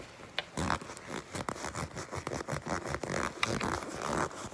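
Long pink nails grip and scratch the edge and seam of a black leather jacket, making a quick series of dry, rasping scrapes and soft creaks. The short bursts follow one another closely, with bright, papery texture over a muffled low thump from the handling.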